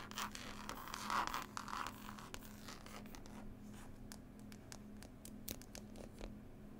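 Long nails scratch and tap the label and textured green cloth cover of a closed, solid hardback book. Dense, bright scratching fills the first couple of seconds, then gives way to sparser, sharp clicking taps over a faint steady low hum.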